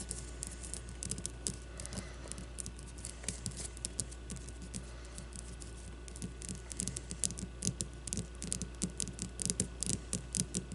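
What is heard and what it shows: Long blue-painted nails scratch and tap a solid leather baseball with red stitching, producing a dense patter of quick, dry taps with bright, crisp edges. Soft scratching fills the gaps over a steady low hum, and the taps grow louder and more frequent toward the end.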